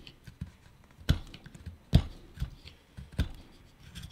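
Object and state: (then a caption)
Wooden pipe blank being carved. A carving knife repeatedly shaves the surface of a small, solid wooden pipe bowl (a pipe blank) held in the hand, giving dry, low cutting and scraping strokes. Three sharper, louder cuts stand out among softer, irregular shavings, each dying away almost instantly.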